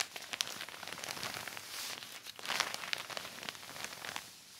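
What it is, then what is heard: Heavy plastic sheet crinkling. A black heavy plastic sheet is wiped and rubbed with a yellow microfiber cloth held in the hand, producing steady, bright crinkling and crackling. The sound is mostly high-pitched, with quick sharp crackles over a dense rustle and a louder burst of rubbing near the middle before it eases off.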